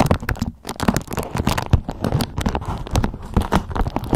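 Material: Waxed cotton.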